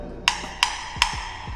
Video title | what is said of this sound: 8 Tips Asas Sebelum Masuk Rumah Baru - Kongsi Tips | Dia ada bunyi macam basi sikit lah kan